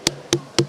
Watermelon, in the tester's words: звук має бути дзвінкий в першу чергу